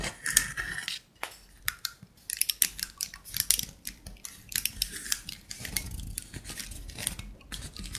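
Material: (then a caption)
Wood. A wooden block trivet is held and slightly flexed while fingernails scratch along the edges and tops of its blocks. The result is a stream of bright, dry scraping and quick clicking taps that briefly fades to near quiet before resuming and continuing steadily.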